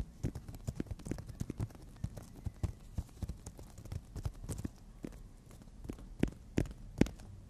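Long natural nails tap and scratch across the gritty surface of a long, flat, solid emery board nail file. The result is a quiet, irregular stream of dull, low clicks mixed with soft scratchy rasps, with a few sharper taps near the end.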